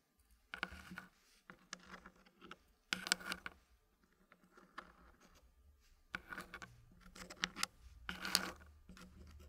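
Small solid dark-wood puzzle pieces are placed and lifted by fingertips, tapping and knocking into a thin green wooden tray. Dry wooden clicks and scraping rustles come in bursts with brief quiet gaps, mostly bright with short, fast-fading knocks.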